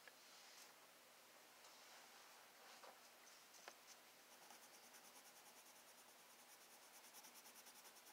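A black wooden colored pencil tip rubs across a thin, flat sheet of spiral-bound sketchbook paper, held in the fingertips, while shading. It makes a quiet, steady, bright scratchy hiss with a few soft ticks, and in the second half it turns into quick, rhythmic back-and-forth strokes.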